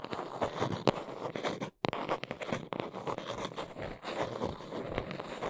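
Long nails scratch and tap along the underside and edges of a small brown cardboard box held in both hands. Dense, dry scratching and crunchy rasps run throughout, punctuated by sharper taps and a brief silent gap just before two seconds.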